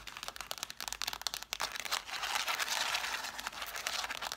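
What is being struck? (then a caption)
Stack of cloth-bound hardcover books. Long black nails scratch and tap quickly along the spines and page edges of an angled stack of red cloth-bound hardcover books. The sound starts as a run of short, dry bursts and then turns into a steadier, brighter scratching hiss with no low end and no ring.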